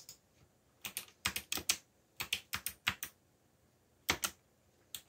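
Fingertips type quickly on the plastic keycaps of a backlit black plastic mechanical keyboard. About 17 short, bright clicks land in uneven bursts with quiet gaps between them, each dying away almost at once.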